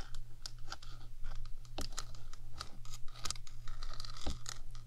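One hand with long acrylic nails scratches and taps the top of a 3Dio binaural microphone's rectangular metal housing, a small enclosure with electronics inside. Quick, bright clicks and raspy scratches come in an irregular stream over a steady low hum, with each tap dying away almost at once.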